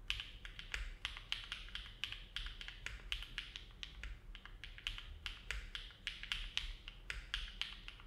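A compact silver-cased mechanical keyboard with an aluminum plate and dark plastic keycaps, resting on a desk mat, is typed on steadily with the fingertips of both hands. It gives a continuous run of short, sharp clacks, bright and centered around 3 kHz, that die away almost instantly. A faint low rumble sits underneath.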